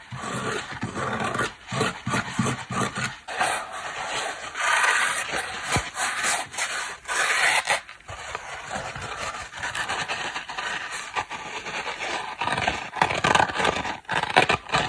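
Long black nails and fingertips rub and scratch a small, dry, layered foam kitchen sponge, first across its blue printed cloth face and then its black scouring pad face. The result is a steady, crisp, raspy scratching with bright texture and brief pauses between strokes.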